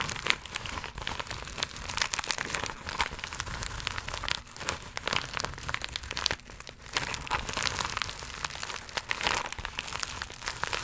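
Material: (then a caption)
Plastic. Long acrylic nails scratch and tap a flat, iridescent, croc-embossed holographic plastic mailer pouch. The result is dense, bright crinkling and rapid scratchy clicks that run almost continuously, with a brief quieter dip partway through.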